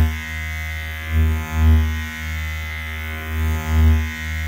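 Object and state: Nothing is struck.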